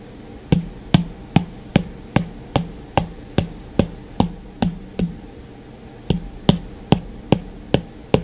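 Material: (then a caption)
Glass. The hard plastic tip of an Apple Pencil taps repeatedly on the dark, switched-off glass screen of a white iPad. There are 18 crisp, short clicks at a steady pace, each with a brief low thud that dies away almost at once. A short pause falls after the twelfth tap before the last six.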